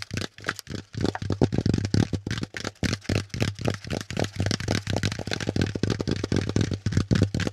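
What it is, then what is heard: Corrugated cardboard insert. Fingertips and nails tap and scratch a brown corrugated cardboard packaging insert with hollow pleats, producing about thirty quick, dull, papery taps in an uneven rhythm. The taps are short and low-heavy, with faint bright scratchy edges. A steady low hum runs underneath throughout.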